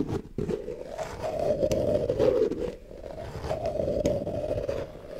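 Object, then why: Plastic jar with ridged plastic lid. Long nails scrape along the ridged edge of a red plastic lid on a medium white plastic tub. The result is a continuous, raspy, ratcheting scrape with a steady mid-pitched buzz, heard as two long passes: the first swells louder, then there is a brief dip before the second, quieter pass.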